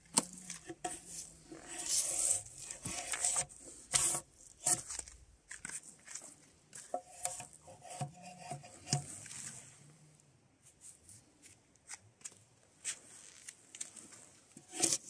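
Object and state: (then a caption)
Spruce log bark being stripped. A draw knife held in gloved hands scrapes along a solid spruce softwood log with bark resting on a sawbuck, peeling off strips of bark. Bright, rasping scrapes and short sharp snaps come in a rapid, uneven series of strokes. The strokes grow sparser and quieter in the second half, with a final sharp scrape at the end.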